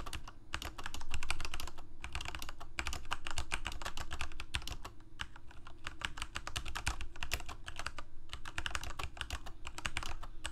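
Fingertips of both hands type quickly on a Corsair K68 full-size mechanical keyboard with plastic keycaps, Cherry MX Red switches and a backlight, resting on a desk. A dense, uneven stream of short, bright plastic clacks runs throughout over a steady low hum.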